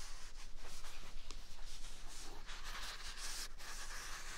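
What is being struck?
Paper toilet roll.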